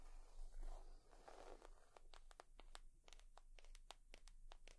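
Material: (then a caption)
Leather. Long nails scratch and rub across a leather purse for about a second, making a soft, scratchy rustle, then switch to quick, irregular tapping. The taps come as sharp, bright clicks over a low, steady hum, and the whole clip stays quiet.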